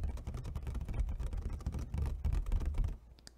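A clear, thin plastic takeout clamshell container, hollow and empty, is gripped at the sides and tapped rapidly with fingertips and nails on its top and sides. The result is a fast, irregular patter of dull, low, hollow taps with very short decay. The tapping stops just before the end, leaving near-silence with a faint bright tick.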